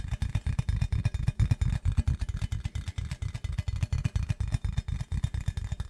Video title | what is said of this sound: ASMR tapping assortment to help you sleep | it is very satisfying to listen to